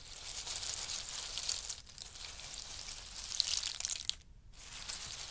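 Fingers rake and scratch through a pile of in-shell pistachios resting on a fur mat, giving a steady, bright crackling rattle of hard shells. The texture is almost entirely high-pitched with little low end, and it briefly drops out twice before the scratching resumes.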